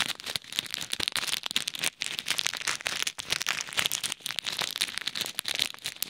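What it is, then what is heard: Plastic bag of pearl beads. A small clear bag of plastic pearl beads is pressed and rubbed by fingertips over a microphone, giving a steady run of bright, dense crackling and crinkling as the beads shift. The sound sits almost entirely in the high range with almost no low end, broken by brief quiet gaps near 2 and 3 seconds.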